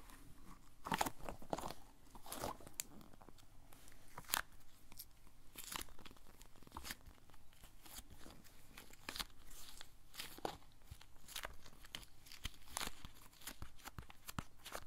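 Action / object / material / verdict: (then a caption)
scrape / polyurethane foam squishy toy / polyurethane foam / none. A yellow, elongated squishy toy made of solid soft polyurethane foam is squeezed and kneaded with both hands and fingertips. It produces a steady run of soft crunchy, crinkling squishes with short bright bursts and a low hum beneath, quiet throughout and without speech.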